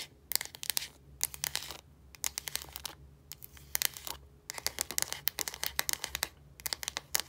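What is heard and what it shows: Long dark nails scratch and tap the light blue plastic casing and clear cap of a Secret deodorant stick, a hollow casing with product inside. Quick bursts of sharp, bright clicks and scratchy rasps come in clusters separated by short quiet gaps, each tap dying away almost instantly.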